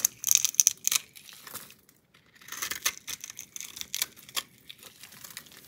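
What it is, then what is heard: Bar of soap being cut. A box-cutter blade scrapes and cuts across an oval solid orange bar of soap with an embossed logo and a scored grid surface, held in one hand with long nails, shaving off small crumbly cubes. Crisp, bright scraping crackles come in quick bursts, loudest at the start, fall silent briefly around two seconds, then resume in softer, scattered cuts.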